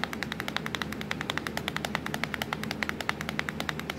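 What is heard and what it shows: Long acrylic nails tap fast on the black plastic keys of a laptop keyboard near the Windows key, producing 42 short, sharp clicks over four seconds. Each tap is a bright, dry tick centered around 2 kHz that dies away almost instantly, over a faint low hum.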